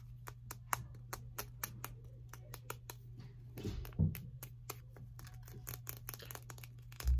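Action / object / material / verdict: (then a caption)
tap / plastic highlighter pen / plastic / none. A small blue plastic highlighter with a hollow body is held in the hands and tapped and scratched with long painted fingernails, producing around thirty crisp, short clicks at an uneven pace. Soft scratching runs between the taps, with a few duller, louder knocks near the middle and the end, all over a steady low hum.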